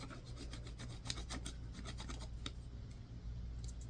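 A yellow-tined, wooden-handled tool scrapes across a solid white bar of soap with a scratched, textured surface. Quick, repeated rasping strokes give bright, dry scratches over a steady low hum, with the strokes thinning out toward the end.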